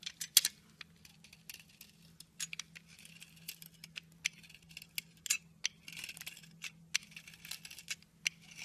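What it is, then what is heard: Bar of soap being scraped with a blade. A utility knife blade scrapes grooves into the surface of a solid pink soap bar held in hand. The result is an irregular run of short, crisp, bright scraping clicks and crackles that stop almost instantly, over a faint steady low hum.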